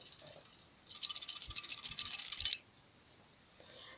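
A glass neon tube whose electrode broke loose during electrode bombardment, when the tube popped and something inside fell and broke, is shaken by hand. A light, high-pitched rattle of loose fragments clinks inside the glass, with the loose part sitting in the base rather than the filament. The rattle marks the tube as damaged.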